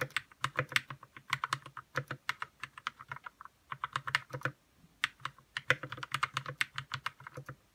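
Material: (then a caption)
Plastic. Fingertips type steadily on a white RK61 60% mechanical keyboard with plastic keycaps, lubed red switches and a hollow plastic case. Quick, bright keystroke clicks come in bursts with brief pauses, each with a faint low thud beneath and almost no ring.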